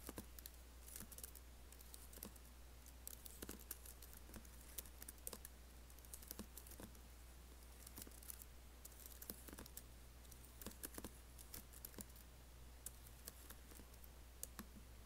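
A MacBook laptop keyboard with black plastic keys in an aluminum body is tapped and typed on by fingertips with long nails, giving many quick, dry, bright clicks. The clicks come in irregular bursts over a steady low hum.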